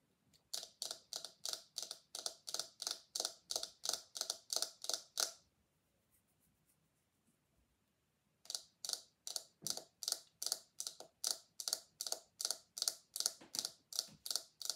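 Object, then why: Silicone scalp massager brush. Long acrylic nails flick and scratch the soft bristles of a small pink handheld silicone scalp massager brush with a knob handle, solid. Quick, bright, dry bristly strokes repeat in a steady rhythm, pause for about three seconds, then resume at the same pace to the end.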